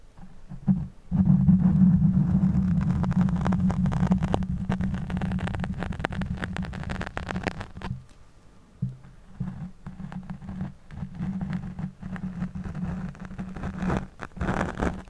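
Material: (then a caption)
Foam. Fingertips and nails of one hand scratch a black foam microphone windscreen while the other hand holds the mic. This produces a dense, muffled rumbling scrape, almost entirely low-frequency, with a droning tone near 184 Hz. The scratching is loudest over the first several seconds, nearly stops around the eighth second, then resumes more softly in uneven bursts.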